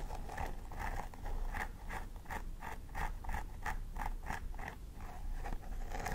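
Long nails scratch repeatedly through the dense synthetic hair at the scalp of a plastic doll head, while the other hand holds a thin wooden stick along the parting. The result is a steady series of crisp, rustling scratch strokes over a low background rumble.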